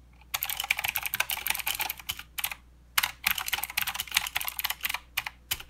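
Fingertips of both hands type continuously on a plastic mechanical keyboard with clicky blue switches and plastic keycaps. Bright, sharp clicks come in rapid bursts, with a brief pause just before the three-second mark before the typing resumes.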